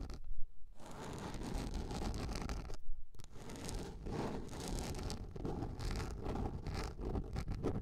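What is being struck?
Large round plastic container lid.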